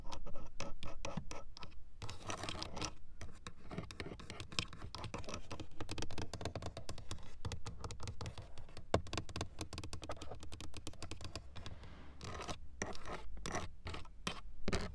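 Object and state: Plastic car door switch panel.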